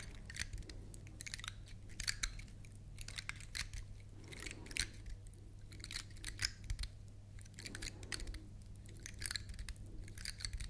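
A large, dry, dark brown pine cone with solid woody scales is held up close and scratched across its scales with long nails. The result is a dense series of quick, dry, bright clicks and crackles arriving in bursts, over a steady low hum.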